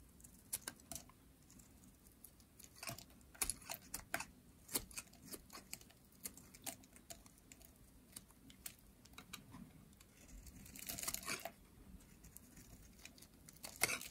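A green, solid, dry bar of soap held in hands with long nails is shaved with a metal blade, curling flakes off the bar. Quiet, sharp, dry clicks and crisp scrapes come in an irregular series with bright, crackly edges and almost no ring. A longer rasping scrape swells near the end.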